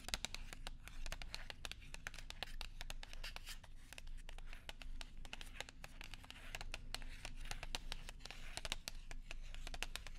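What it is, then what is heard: Paper and foil gum package. A small, flat silver and white paper and foil gum package is handled, crinkled and tapped with long nails and fingertips close to a microphone. Dense, rapid, bright crinkles and crisp clicks sit over a steady low hum.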